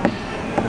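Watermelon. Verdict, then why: Unripe. Two knocks on an unripe watermelon in a supermarket, judged not good yet because it lacks the deep, vibrating thud of a good one. Each knock is a short, dull tap centered around 230 Hz that dies away almost at once, over a steady background hum.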